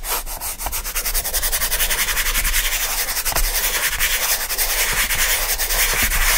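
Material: Cardboard.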